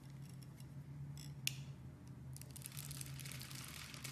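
A utility knife blade scrapes and carves thin flakes off a solid oval orange bar of soap with a grid-scored surface, held in the hand. Soft, bright scraping rasps come in short bursts over a steady low hum, with one sharp click early on. The scraping then thickens into a denser, continuous shaving sound.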